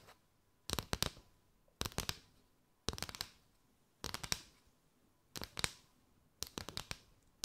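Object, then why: Paper straw mat. Long white nails tap and scratch across the ridges of a flexible mat made from a row of hollow, thin gold-and-white chevron paper straws, held curved over the mic. Seven bursts of quick, dry, papery clicks and scrapes come in, each dying away almost at once. They are bright with little low end, with near silence between them.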